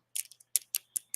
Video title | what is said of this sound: LIVE AT 5 JEWELRY AUCTION VINTAGE COSTUME LOW STARTS, BIN FUN!! | yeah that's glass so these are glass